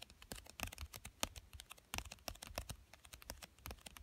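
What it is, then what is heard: Cardboard card game box. Fingertips with short dark-painted nails tap and scratch the top of a small, flat, hollow pink printed cardboard box for a children's card game, which lies on a fleece blanket. Quick, irregular dry taps and clicks sound with bright, scratchy edges and a faint low thump beneath. Each hit dies away almost at once at a soft, quiet level.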